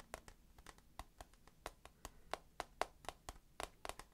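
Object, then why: Clear plastic tissue box. A hand-held, rectangular, hollow clear plastic tissue box full of tissues is tapped quickly on its side and corner with fingertips and nails. Eighteen short, dry taps come at an uneven pace, each a hollow click with a tone near 715 Hz and a bright top that stops almost at once.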